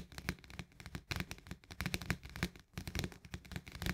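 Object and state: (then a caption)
Plastic lid of a paperboard canister. Fingernails and fingertips tap quickly on the rim of a green plastic lid on a paperboard Orzo Bimbo canister. The result is a dense, uneven run of short, dry clicks and taps with a low thud underneath and bright, crisp edges, each hit dying away almost at once.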